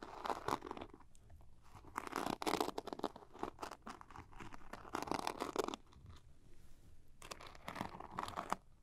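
Long painted nails tap and scratch a small, soft-sided zippered makeup pouch with a sparkly glitter surface, probably holding small items, while it is held in both hands. Bursts of dry, crackly scratching and quick taps come and go with quieter pauses between them. The rustle centers in the mids, with brief bright edges.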